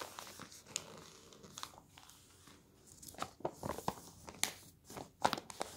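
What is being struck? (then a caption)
Newspaper pages on a table. Palms sweep and rub across paper newspaper pages resting on a table while fingers fold the sheets. A soft, dry rustle runs underneath scattered crisp, bright crinkles and sharp papery snaps that grow denser and louder toward the end.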